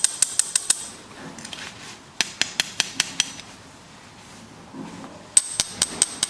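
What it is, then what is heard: Alloy watch case tapped. The engraved barleycorn-pattern alloy case of an outdoor watch, set on its side, is tapped with what appear to be metal tweezers. Three quick bursts of sharp, bright metallic ticks are heard, very high-pitched, with almost no ring after each tap. Faint rustling fills the gaps between bursts.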